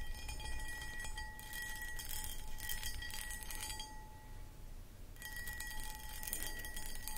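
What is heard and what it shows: Long acrylic nails scratch and tap the textured sides of a medium-sized, empty, hollow clear cut glass footed pedestal bowl. Bright, gritty scratching comes in bursts over a low rumble, and a faint glassy ring lingers throughout. The scratching quiets for about a second in the middle before resuming.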